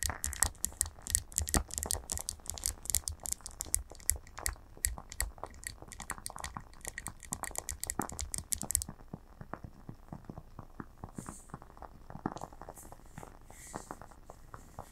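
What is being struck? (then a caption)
Glass candle jar filled with wax. Long nails from both hands tap rapidly on the glass sides of a lit candle jar filled with wax, making quick, crisp clicks with a bright, high edge and very little ring. The tapping is dense and steady for about nine seconds, then turns softer and sparser, with scattered light taps to the end.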